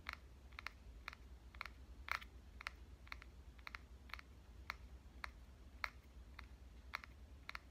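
Dark-painted fingernails tap the body of a red compact digital camera with a metal and plastic body, held in the hand. Short, dry, bright clicks centered around 2 kHz come at a steady, slightly uneven pace, some in quick pairs, with no ring after each. A faint low hum sits underneath throughout.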